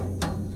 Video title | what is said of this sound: MRS 500 splitter and diffuser finished | Some of the alloy when you buy doesn't sound this way. This sounds like metal.